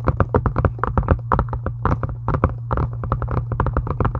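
Long acrylic nails tap quickly on a solid, pink, embossed faux-leather journal cover, making a rapid string of short, dull clicks with a steady low hum underneath. Each tap dies away almost at once, and the sound stays dark with no bright edge.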